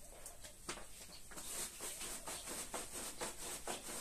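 A gloved hand scrubs a small red patterned wool pile rug, wet with soap foam and lying flat on the floor, using a small handheld green scrub brush to clean it. Steady, slightly uneven back-and-forth strokes, about two per second, make bright, wet bristly swishes over a faint soapy hiss.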